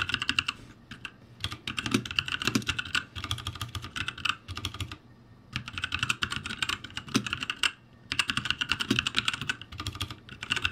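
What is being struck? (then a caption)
Mechanical keyboard with plastic keycaps. Both hands type rapidly with their fingertips on a backlit ROCCAT G65 mechanical keyboard with plastic keycaps. Bursts of sharp, bright, clicky key taps are broken by brief pauses, and each tap decays almost instantly.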